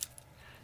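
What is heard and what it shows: A steel beads-of-rice bracelet and clasp on a Dificiano Marlin dive watch, tapering to 18 mm at the clasp, is shaken. Three quick, bright metallic clinks sound over a low, quiet background. Though the bracelet is thinner and more flexible, it sounds solid and not tinny, carrying the mass of the clasp.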